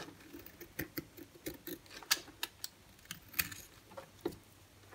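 A solid white bar soap held in the hand is cut and scraped with a utility-knife blade. About a dozen short, crisp, bright clicks and scrapes patter irregularly over a faint background hiss, each dying away almost instantly.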